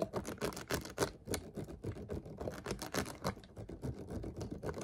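A clear, ridged plastic water bottle, partly full and held sideways, is tapped and scratched with fingertips and nails. The result is a fast, uneven run of short, dry taps with scratchy high rasps between them and almost no ring.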